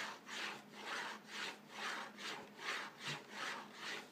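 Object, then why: Cardboard cracker box. Fingertips and nails scratch and rub the front face of a hollow, likely full, yellow cardboard cracker box with French-side "Minces aux légumes" labeling. The result is a soft, steady back-and-forth rubbing with bright, papery hiss swelling and fading with each stroke, at about two strokes per second.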